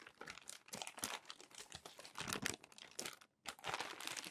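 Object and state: Crumpled paper magazine.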